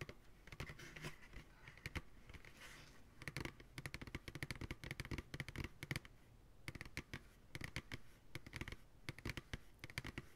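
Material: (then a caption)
Plastic. Fingertips tap quickly on the rim and side walls of an empty, hollow, translucent white plastic ice cream pail resting upright on a lap. The result is rapid bursts of dry, clicky taps with a low hollow thump under a bright tick, each dying away almost at once.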